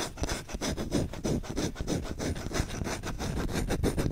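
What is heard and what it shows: The bowl of a solid wooden spoon, held close to a microphone, is scratched and rubbed quickly with short fingernails and fingertips. The result is a fast, uneven run of rasping strokes, roughly three per second. Each stroke is a dry, full low scrape with a faint bright scratchy edge that stops almost at once.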